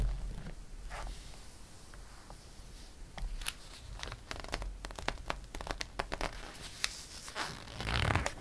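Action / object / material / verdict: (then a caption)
scrape / glossy paper catalog pages / glossy paper / none. Fingertips rub across the glossy pages of a paper catalog, making soft, dry scratching and swishing sounds with a series of sharp, bright crackles. Near the end, a page is turned with a louder, fuller rustle.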